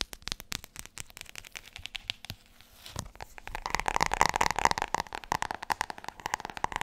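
Long nails tap rapidly over the spine and cover of a large, solid, glossy hardcover book. The quick, dry clicks come in an uneven rhythm and pause briefly near the middle. They then return louder and brighter, with a hollow tone around 900 Hz.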